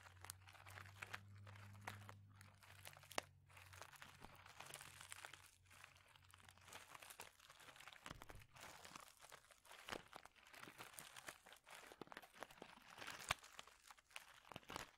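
A clear plastic bag of small mosaic tiles is squeezed and crinkled with fingertips, giving a steady stream of quiet, bright crinkles with sharp clicks and crunches from the tiles shifting inside. A low hum sits under the first half and fades out around the middle of the clip.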